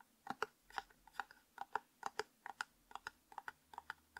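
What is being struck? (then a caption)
Plastic tub with screw lid. Fingertips and nails tap and scratch the flat top of the white plastic screw lid on a hollow, light-blue and white labeled plastic tub held in the hands. Quick, dry clicks with a hollow midrange tone and brief bright edges fall in an uneven rhythm, each dying away almost instantly. About nineteen taps are heard.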